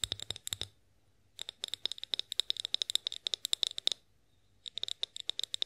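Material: Glass.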